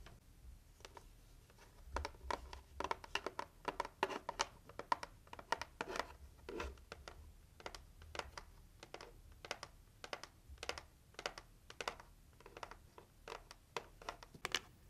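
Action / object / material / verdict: tap / heart-shaped cardboard gift box / cardboard / none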